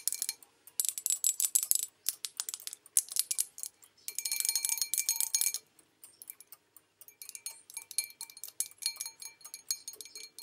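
Long nails tap the base and outer wall of an empty white porcelain bowl with an olive design as it is turned in the hands. Rapid bursts of thin, bright clicks with faint high ringing tones come in clusters, then pause. Each tap dies away almost instantly, with no low end.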